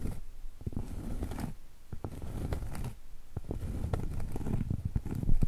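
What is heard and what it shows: A round, flat, solid cork trivet held horizontally is tapped with long stiletto acrylic nails. The taps come as a quick, irregular patter of dull, muffled thuds with faint clicks, each dying away almost instantly with no ring. The sound sits mostly in the low range and grows slightly louder toward the end.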